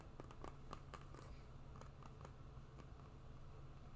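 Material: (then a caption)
Rubber. A black and green synthetic sport shoe with a rubber outsole is held sole-up while long nails scratch and tap its rubber tread. Soft, sharp clicks and faint scratches sound over a steady low hum, with the taps coming in quick bursts early and then spreading out.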